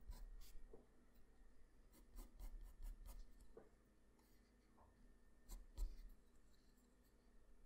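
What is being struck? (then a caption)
Graphite pencil on a sheet of drawing paper. A graphite pencil is pressed close against a flat sheet of white drawing paper, scratching out strokes and hatching. Dry, rough scratches come in irregular bursts with brief broadband clicks, then a quieter stretch of soft rubbing, then another louder pass near the end.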